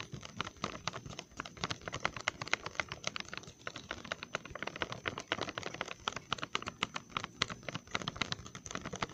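Fingertips and nails tap quickly on the front of a full, resealable, glossy plastic Trolli gummy worm candy bag held in both hands in front of the face. The result is a steady stream of short, dry, crinkly clicks with bright plastic edges and little low end, each tap dying away almost instantly.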